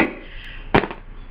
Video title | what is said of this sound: Sigp250 slide takedown#2 | tap it all the way in and you can hear the difference when it hits the bottom